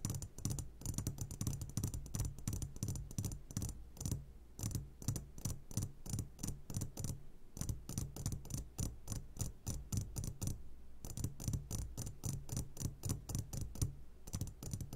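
Short fingertips of both hands tap rapidly on the sides of a medium glass jar, set upside down and full of sugared gummy candies. The taps are crisp, bright clicks that die away almost at once, landing in quick bursts with brief pauses between them. A steady low hum runs underneath throughout.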